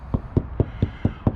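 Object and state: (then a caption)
Hollow spot on motorhome rear wall. Six taps on a spot on a motorhome's rear wall panel give dull, hollow knocks, each with a low thud near 100 Hz that dies away almost instantly. This patch of the back wall sounds hollow rather than solid.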